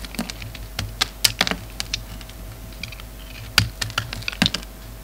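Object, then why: Soap bar cut with a knife blade. A hand-held solid bar of lavender soap is carved with a utility knife blade, making a quick series of crisp, bright clicks and scraping snaps that stop short with almost no ring. A faint steady low hum runs underneath.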